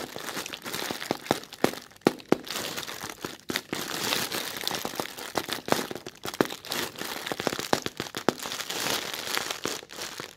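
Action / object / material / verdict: scrape / thin plastic bag film / plastic / none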